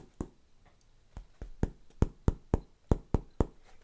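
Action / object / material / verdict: knock / car door panel with sound-damping material / sheet metal / damped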